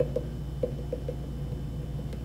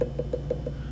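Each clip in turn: First: thick spot on a leather-hard clay cylinder. Second: thin-walled spot on a leather-hard clay pot.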